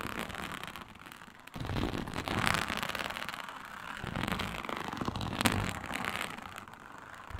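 Long nails scratch and tap across a flat, iridescent faux snakeskin mat made of embossed reptile-pattern synthetic leather. The result is a dense, crackling, broadband rasp that swells louder after the first second and a half, with a sharp tap standing out near the middle-end.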